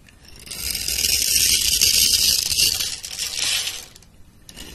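A metal blade scores a grid into a solid, rounded pink soap bar held in a hand with long red nails, then scrapes off small cubes and crumbs. The scraping and cutting make a dense, bright, crackly rasp. It builds over the first half second, holds for a few seconds, then fades, with a brief quieter scrape near the end.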